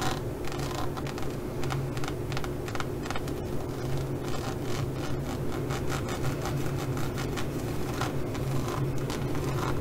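Long nails scratch and tap across the raised studs of a green, pyramid-textured faux leather zippered pouch lying flat, with both hands joining in by the end. A continuous run of dry, crisp scratches and light clicks sits over a steady low hum, with brief bright bursts roughly every second at an even level throughout.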